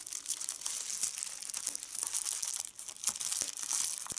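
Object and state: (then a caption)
Plastic bubble wrap. A large clear plastic bubble wrap sheet lies on a checked tablecloth, its edge pinched between fingertips with red-painted nails as bubbles are popped one at a time. Bright, dense crinkling runs throughout, punctuated by short, sharp pops with almost no low end.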